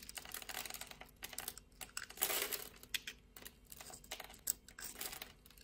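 A blade scores a solid orange translucent bar soap held in the palm and scrapes off small cubes. The result is a quick run of crisp, dry clicks and scratchy scrapes, mostly bright with very little low end. Each tick dies away almost at once, with a louder crackling burst partway through.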